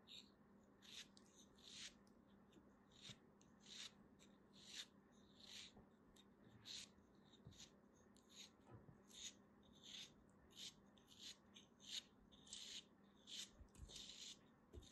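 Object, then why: Kinetic sand block. A small, solid beige block of kinetic sand, held in fingers with long dark nails, is cut and scraped with a small black blade. Soft, bright, gritty scraping strokes repeat at an uneven pace, roughly one or two per second, over a faint steady low hum.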